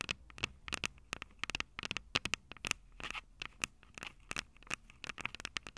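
Long purple nails on both hands scratch and tap the small metal X/Y microphone capsules on top of a plastic Tascam DR-05 recorder, the same mic doing the recording. About two dozen sharp, bright clicks and scratchy rasps come in quick, uneven bursts, each with a faint metallic ring near 2.8 kHz and almost no low end.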